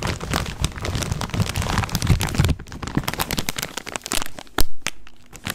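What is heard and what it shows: A full plastic snack bag of corn rings is held in front of the mic and crinkled and shaken by hand. For the first two and a half seconds, dense crinkling sits over a heavy low rumble. It then thins into sparser, sharp, bright crackles, with one loud crunch near the end.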